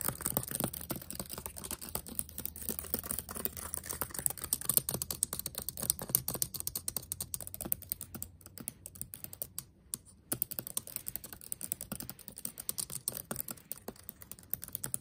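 Fingertips type quickly on a backlit laptop keyboard with black plastic keys, producing a dense, irregular stream of short, dry clicks and taps. The typing briefly thins out around the middle before resuming at the same fast pace over a faint low hum.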